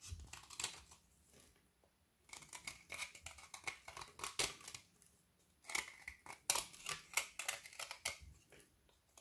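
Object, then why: Frozen white chocolate bar with candy pieces. A solid frozen white chocolate bar with colored candy dragees, held in the hands, is shaved and scraped with a kitchen knife, and the flakes fall onto the shavings below. Bright, dry scraping strokes come in quick bursts with short pauses between, each stroke crisp and brief with almost no low end.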